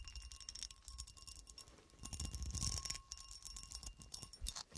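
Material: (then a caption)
Glass. A solid, hand-sized clear cut glass horseshoe with ridges is held in the hand and scratched and tapped with long dark acrylic nails. Quick, uneven clicks and scrapes patter along with bright, glassy ringing tones and a faint steady hum underneath. The sound swells into a denser, louder scratching burst in the middle before easing back to lighter taps.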